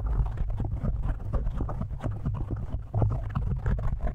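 Fingertips and short nails of both hands scratch and tap a large black foam windscreen, soft and porous, covering the hollow metal head of a studio microphone. A dense, rapid run of muffled, boomy thumps and close scratchy rustling sits almost entirely in the low range, with each tap dying away quickly.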